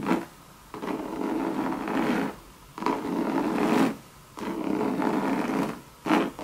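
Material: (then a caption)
Coated canvas. Long red acrylic nails scratch the round base and sides of a medium monogram coated-canvas Louis Vuitton bucket handbag with tan leather trim and brass feet, which is hollow and appears empty. Five dry, raspy scratching bursts of mostly midrange texture come and go, separated by short quiet pauses.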